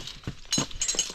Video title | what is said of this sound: Canyonning Le vallat du tombereau | donc ça cette espèce de calcification ça sonne vraiment creux